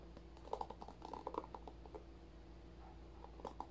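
Fingertips flick and scratch across the bristle tips of a handheld paddle-style hairbrush with a white and blue plastic body and rows of plastic bristles, held close up. Quiet, dry clicking flicks with a mid-range pitch come in quick clusters over the first two seconds and again near the end, each dying away almost instantly. A steady low hum runs underneath.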